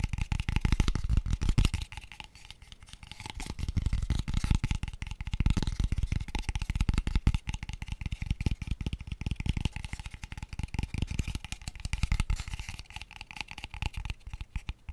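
A small, pale, unfinished wooden box, hollow, open-ended like a square tube and empty, is held close to the microphone and tapped very fast with fingertips and short nails. The result is a dense, continuous stream of quick, dull, low hollow knocks with almost no ring, easing slightly in volume for a moment around two seconds in.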